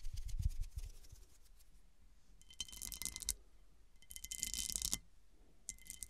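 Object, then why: Cut-crystal glass serving dish. Long dark nails and fingertips scratch and tap the textured, faceted surface of a large round cut-crystal glass serving dish, which rests upside down and hollow. Quick dull taps open the clip, followed by bursts of bright, rasping scratching with a faint ringing tone, separated by quiet pauses.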